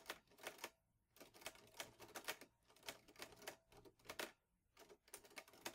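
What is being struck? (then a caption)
Metal portable typewriter. Fingertips type steadily on the keys of a vintage teal metal Underwood Olivetti Lettera 22 portable typewriter with paper loaded. The keys make bright, sharp clacks that die away almost instantly, in quick bursts separated by two short pauses.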